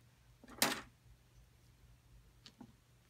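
A solid rectangular plaster excavation block is held and then set down on a table, making one sharp, bright knock. A few faint, light taps from long acrylic nails follow over a quiet background with a steady low hum.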